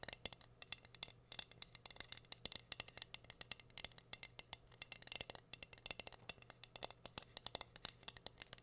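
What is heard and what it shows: Long nails scratch and tap rapidly over a flat, solid heart-shaped wooden board covered in pink rhinestones. The result is a quick, irregular stream of dry, bright clicks and rattling scrapes with almost no ring, over a faint steady low hum.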